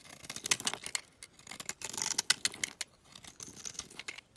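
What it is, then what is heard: Bar soap being carved with a blade. A solid green olive oil bar soap, held in the hand, has thin flakes scraped and carved off its flat face with a metal utility knife blade. The result is a quiet, dense run of crisp, bright scraping and crackling strokes, with almost no low end and short, sharp peaks that die away instantly.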